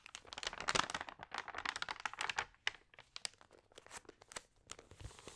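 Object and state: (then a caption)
Damp glossy magazine pages crinkling. Long-nailed fingers turn the wavy, dampened pages of an open, water-sprayed glossy paper magazine and rub them flat. The result is a dense, irregular run of crisp, bright crinkles and crackles with almost no low end. The crackling is loudest in the first couple of seconds and softer afterward.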